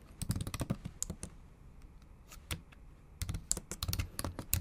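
Long acrylic nails type on the plastic keys of a bare, backlit MacBook Pro laptop keyboard. Quick bursts of short, bright clicks over soft low thumps fill the first second and the last stretch, separated by a quieter gap with only a few scattered taps.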